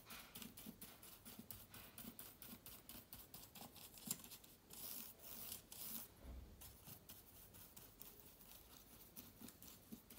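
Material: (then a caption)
Plastic, aluminium. A small soft brush sweeps back and forth over the plastic keys of a silver laptop with an aluminium body. The result is a quiet, rapid series of bright, scratchy brushing and rubbing strokes, with a few denser stretches of sustained hiss partway through.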